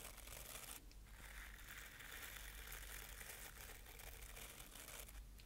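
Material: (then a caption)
Bristle. Fingertips and nails scratch and brush over the dense dark bristles of a hand-sized wooden paddle-style hairbrush held close to a binaural microphone. The result is a steady, bright, crackly crinkling scratch with a low rumble underneath, briefly thinning out near the start and end.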